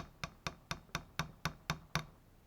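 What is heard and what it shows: Eight evenly spaced taps on an original OEM power window regulator/motor part from a 1998-2005 Dodge Intrepid, struck as a ping test. Each tap gives a short, dull knock with a low body around 156 Hz that dies away almost at once. It sounds more like a thud than the new replacement part, showing the original is heftier and more solid.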